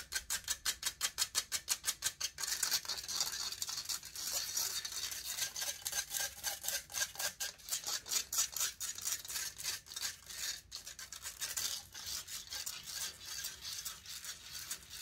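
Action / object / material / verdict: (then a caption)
scrape / metal mesh microphone grille / metal mesh / none. Long nails scratch the hollow metal mesh grille of a large silver condenser microphone. The sound is a bright, dry rasp: quick separate strokes for the first couple of seconds, then dense, uneven scratching with almost no low end.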